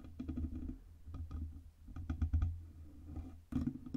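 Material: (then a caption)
Metal. Fingertips and long red-painted nails tap rapidly on the sides of the cylindrical, hollow, black-painted metal body of a Blue Yeti USB microphone, about 20 cm tall. The result is a fast patter of soft, low, muffled knocks with short dull resonance, heavy in the bass with almost no brightness. A sharper, louder flurry of taps comes near the end.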